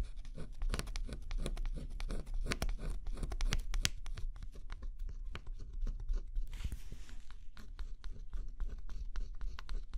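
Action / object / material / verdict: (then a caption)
scrape / cardboard jigsaw puzzle with scratch-off coating / cardboard / none. A thin pointed scraper stylus scratches the black scratch-off coating on a flat cardboard jigsaw puzzle. It makes a steady run of quick, dry scratching clicks and crackles over a low rumble, with a brief hissy, brighter scrape near the middle.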